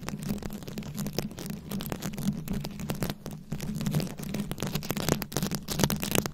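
Long nails scratch and tap the rhinestone beads covering a round microphone head. The result is a dense, uneven stream of sharp crackly clicks and bright scratching over a steady low hum.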